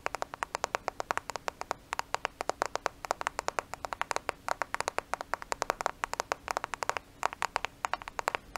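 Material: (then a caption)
Glass, plastic. A thin, flat black smartphone with a glass screen and plastic case is held in both hands close to a microphone and tapped and scratched with long nails. The result is a fast, uneven stream of dry, sharp clicks that stop almost instantly, with light scratching between them and a faint steady hum underneath.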